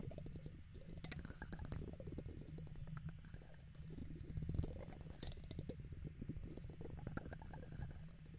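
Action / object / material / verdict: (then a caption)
scrape / metal mesh microphone grille / metal mesh / none. A red plastic guitar pick scratches the hollow metal mesh dome grille of a silver condenser microphone while a hand cups the top. It makes a steady, low, rumbling scrape with rapid fine clicks and a few brighter ticks. The sound is muffled and dominated by low rumble throughout.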